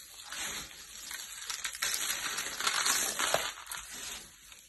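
Bare hands with short nails grab and crumble a pile of dry green and blue soap shavings on a purple mat. The sound is a bright, dry, crunchy crackling that swells and fades in uneven bursts, with a sharper crunch near the end.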